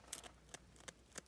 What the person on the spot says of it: just listen to that crunch, how crispy